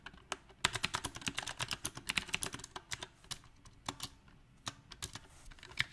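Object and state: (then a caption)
Mechanical keyboard with round plastic keycaps. Both hands type with their fingertips on a compact, backlit mechanical keyboard fitted with round plastic typewriter-style keycaps. About thirty sharp, bright clicks come at an uneven rhythm, with bursts and short pauses. Each click is crisp and dies away almost at once, with little low end.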